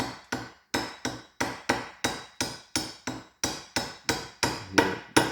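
A small metal pin is tapped lightly with a hammer into a Stromberg carburetor from a Holden 6, producing 15 short, sharp metallic taps at an irregular pace. The tapping sound changes toward the end, showing the pin has gone fully seated.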